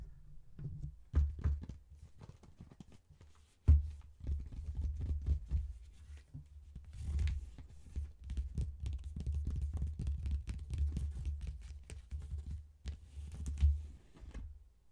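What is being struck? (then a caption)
Faux leather wallet phone case. Fingertips and long painted nails quickly tap and scratch the top of a small, closed faux leather wallet phone case, which is hollow with a snap button and lies on a table. The sound is a busy run of soft, dull, low thumps mixed with faint scratchy rustling, with a few sharper knocks standing out.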